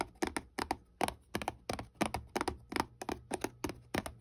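A small, hollow white paperboard box held flat in the hand is tapped and scratched across its face with fingertips and long nails. About eighteen short, dry, crackling taps land in an uneven rhythm, each with a papery hollow knock and almost no ring.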